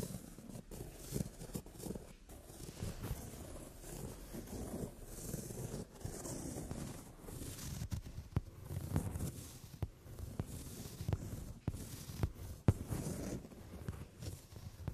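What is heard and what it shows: Long French-tip nails tap and scratch across the padded, brown glossy leather upholstered seat of a sofa. Quiet, low rubbing and scraping runs throughout, broken by short, sharp taps that stand out from the soft, muffled texture.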